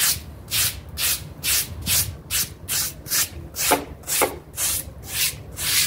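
A pink stiff-bristle scrub brush rubs back and forth across the pile of a small, damp, dirty blue synthetic-fiber mat while fingertips hold its edge. About eleven bright, scratchy bristle strokes are heard at a steady pace of roughly two per second, each a short hissing swish over faint low rumble.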